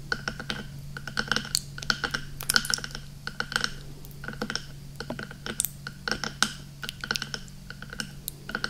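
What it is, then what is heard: Silicone microphone ear. A hand holds a hollow, soft, black silicone binaural microphone ear while fingertips and nails rapidly tap and scratch it. The result is a dense stream of sharp, clicky, bright onsets like typing on a keyboard, with a recurring tone near 1.5 kHz. A steady low hum runs underneath throughout.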